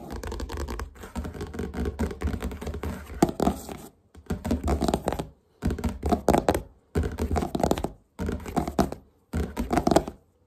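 Fingertips and nails quickly tap and scratch the glossy cardboard cover of a large red hardcover book lying flat, the book made of solid paper. Dense bursts of short, dull taps and scratchy rubbing come in several runs separated by brief pauses.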